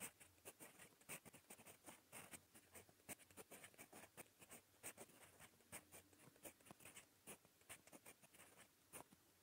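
A gold metal fountain pen nib writes in red-brown ink on a smooth, lined paper notebook page, scratching lightly across the surface. The quiet scratching comes in short, bright, rapid strokes with little low end.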